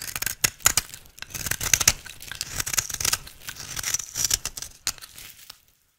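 An oval, solid, pink-striped bar of dry soap is held in the hand and shaved with a utility knife blade into fine shreds. The scraping cuts make a rapid series of bright, crisp, crackling strokes with almost no low end. The strokes fade out into silence near the end.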